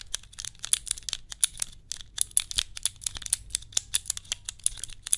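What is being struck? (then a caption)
Clear plastic cube puzzle. A small cube puzzle made of clear plastic tiles is turned, clicked and tapped with fingertips and long nails close to the microphone. The result is a quick, uneven run of sharp, bright plastic clicks and taps with almost no ring, set over a faint low background hum.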